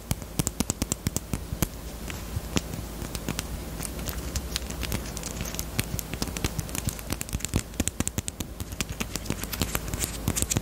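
A small, closed, hollow pink hard-plastic Peep bunny-shaped chapstick case is tapped with long nails close to the microphone. The taps are quick, bright, dry clicks that die away almost instantly, coming in fast, irregular bursts throughout. A steady low hum sits underneath.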